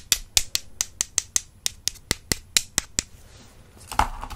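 Two solid wooden makeup brush handles are tapped together with long-nailed fingertips, giving fourteen sharp, bright, dry clicks at a steady pace with almost no ring. After a short pause, a louder knock is followed by a softer scratchy clatter of the handles.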